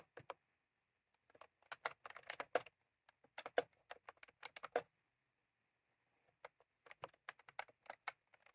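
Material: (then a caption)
Plastic. Fingertips of both hands type on a full-size plastic computer keyboard with round cream typewriter-style keycaps resting on a desk. Quick, bright plastic clicks come in irregular bursts, with a longer pause in the middle before the typing resumes.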